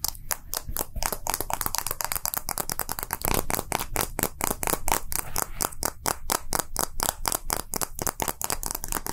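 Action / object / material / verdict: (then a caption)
tap / small round plastic capsule / plastic / none. A small hollow round plastic gacha capsule with green and translucent halves is held in one hand and tapped and flicked with fingertips and short nails. A rapid, steady stream of short, dry clicks and taps with bright, crisp edges and almost no ring continues throughout.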